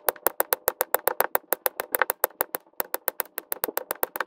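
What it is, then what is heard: Resin drills tapped onto a diamond painting canvas. A pink drill pen held in the fingers taps plastic resin drills onto the same section of an adhesive resin diamond painting canvas in time lapse. It makes 28 quick, dry, bright clicks in a steady rhythm, with a brief pause just after the midpoint. Each click is sharp, with almost no ring and no low end.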